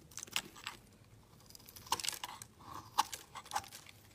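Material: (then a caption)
Glycerin soap. A solid, translucent green glycerin soap bar held in the hand is shaved with a metal utility blade. The result is a series of quiet, crisp, crunchy scraping strokes with bright, high-pitched edges and almost no low end. Each stroke is short and dry with no ring, separated by brief near-silent pauses.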